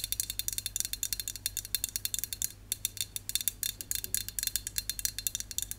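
A hand-held Dove dry shampoo aerosol can, a hollow aluminum cylinder with a printed label, is tapped and scratched with long acrylic and natural nails. The result is a rapid run of short, bright, clicky taps with almost no ring, broken by a brief pause midway, over a faint steady low hum.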